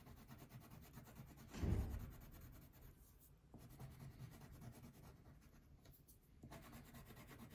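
A pink wax crayon rubs back and forth across a thin paper coloring sheet lying on a table. The scratchy strokes run continuously, with a louder, fuller swipe near the start before settling into softer, steady rubbing.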